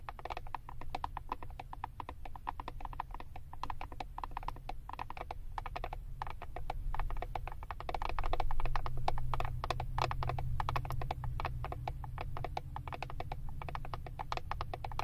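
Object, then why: Plastic eyeshadow palette back with paper label. Long acrylic nails tap and scratch the plastic back of a flat eyeshadow palette with a paper label. A dense, uneven stream of quick, dry clicks and scrapes runs over a steady low rumble, growing louder around the middle before settling back.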